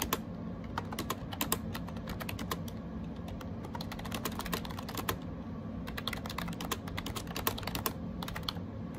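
Fingertips type rapidly on a gray AJAZZ 308i wireless Bluetooth keyboard with round plastic keycaps. Quick, bright plastic clicks and taps come in dense bursts with short pauses, each dying away almost at once, over a steady low background rumble.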